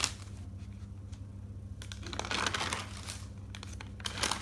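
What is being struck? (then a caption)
Thick paper notebook. Fingers lift and turn the white pages of an open thick paper notebook, giving a bright paper rustle and crinkle. The crinkling swells in a denser burst in the middle and again near the end over a low steady hum.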